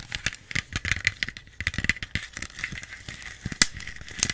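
A small plastic Pepsi bottle with its label on is tapped rapidly with long nails, about eighteen quick taps. Each produces a bright, crinkly click with a thin ring near 2 kHz that fades almost instantly, with a few sharper, louder taps near the end.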